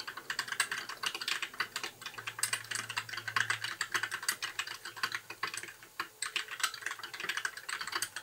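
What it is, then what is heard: Plastic mechanical keyboard. Fingertips type steadily on a compact white mechanical keyboard with plastic keycaps, producing a rapid stream of short, bright, clicky keystrokes with almost no ring. A faint low hum sits underneath for a few seconds, and the typing briefly pauses near the six-second mark before resuming.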